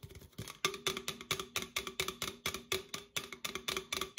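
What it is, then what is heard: Aluminum drink can tapped with fingernails. An opened, hollow red Coca-Cola aluminum can, held sideways, is tapped with long acrylic nails on its side and near the opened top. The result is a rapid, uneven series of bright, clicky metallic taps, each with a brief hollow ring centered around 1.2 kHz that dies away almost immediately.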